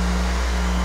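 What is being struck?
Nothing is struck.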